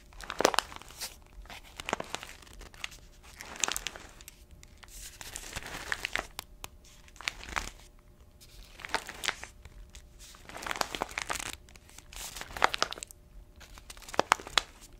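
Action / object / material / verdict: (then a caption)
scrape / paper-foil coffee bag with coffee beans / paper foil / none. An orange paper-foil coffee bag filled with beans is turned over and squeezed with fingers and long nails, crinkling the paper. Repeated bursts of dry, bright crinkling and crunching come in clusters, with quick sharp crackles and quiet pauses between them.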